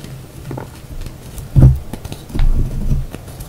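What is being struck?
Pressed gym chalk (magnesium carbonate) chunks.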